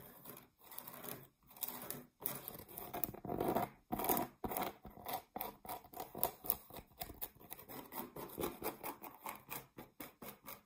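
Long nails scratch along the edge and face of a solid, flat round cork trivet or board about 20 cm across, held upright and flat. A dry, papery scratching starts with a few longer scraping passes, then turns into quick, steady strokes, each a short crisp rasp with a bright hiss on top.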